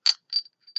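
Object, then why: Small glass shot glass. A small souvenir glass shot glass from Cave of the Winds in Colorado Springs is tapped three times. Each tap gives a short, bright, high ding that fades almost at once.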